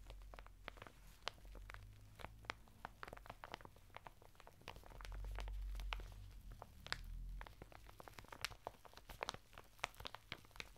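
Fingertips scratch and rub the textured surface of a flat bath mitt of coarse woven natural fibre, sealed in a thin printed plastic packet lying sideways on a table. Rapid, irregular crisp clicks and plastic crinkles are heard over a soft low rumble that swells briefly near the middle.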